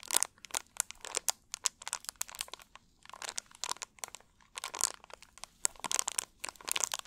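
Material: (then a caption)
Plastic. An empty, hollow, clear plastic drink bottle is squeezed and crunched with both hands. It makes bursts of bright, crinkly crackles in dense clusters, with brief quiet gaps between them. There is almost no low end, and each crack stops sharply with no ring.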